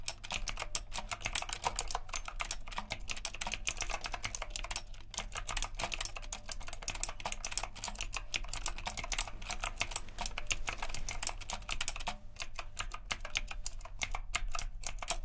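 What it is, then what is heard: Mechanical keyboard being typed on. Fingertips type steadily on a retro typewriter-style mechanical keyboard with round plastic keycaps and a metal frame. The rapid, crisp, bright key clicks stop dead with no ring, over a steady low hum.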